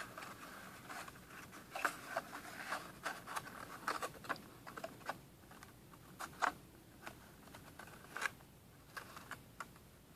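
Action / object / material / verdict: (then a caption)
tap / small printed cardboard box / cardboard / none. Fingertips and medium manicured nails tap and scratch the printed surface of a small, hollow, empty-looking rectangular cardboard retail box, printed black with red splatter and held in both hands. Quiet, dry, irregular taps and scrapes carry a papery midrange tone around 1.5 kHz with bright edges. Each tap dies away almost instantly over a soft, steady scratching hiss.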